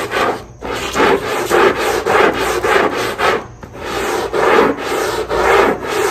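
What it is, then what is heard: Rug backing being scrubbed. A long-handled black brush scrubs back and forth across the wet, foamy, rubber-dotted backing of a textile rug lying on a tile floor. Each stroke makes a rough, rasping swish with a mid-range body, and the strokes come in a steady but uneven rhythm with brief pauses between passes.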